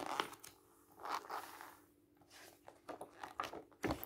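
Fingers rub the surface of a thick book's glossy coated paper pages and flip them while the book lies open on a table. Soft papery crinkles and brushing swishes come in short, bright bursts, ending with a sharper snap of a turning page.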